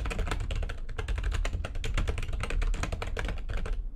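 Long nails on both hands type fast on a full-size plastic backlit computer keyboard. The result is a dense, steady stream of short, bright plastic clicks and taps over a constant low rumble, ending with a brief taper at the close.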